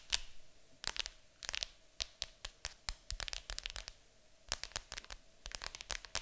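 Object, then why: Cardboard board game box. Long acrylic nails tap and scratch across the lid of a large, hollow, printed cardboard board game box. The result is quick, irregular bursts of sharp, bright clicks and dry scraping, each dying away almost instantly over a faint steady hiss.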